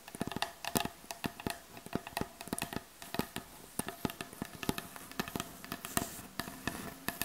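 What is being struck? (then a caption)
Wooden butcher block board. Long acrylic nails and fingertips tap on the solid, light wooden surface of a butcher block board. Quick, irregular, dry clicks come in bursts over a faint, steady tone near 690 Hz, each tap dying away almost instantly.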